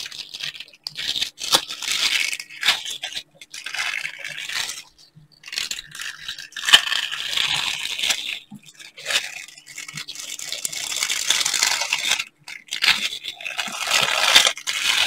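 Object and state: Silicone pan scrubber.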